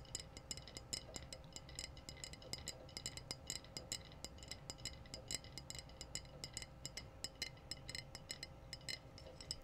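A medium-size, empty-looking clear glass wine bottle with a metallic pink-red screw cap is held in both hands and tapped on its glass body by long blue-painted nails. Rapid, irregular bright clicks and clinks with very short ring ride over a steady low hum and hiss.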